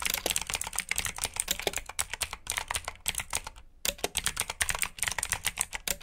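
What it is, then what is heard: Mechanical keyboard with clicky switches. Fingertips with short nails type rapidly on a full-size black plastic mechanical keyboard with RGB backlit keycaps, clicky blue switches and hollow key housings. Dense, sharp, bright clicks die away almost instantly, with a brief pause about two-thirds of the way through before the typing resumes.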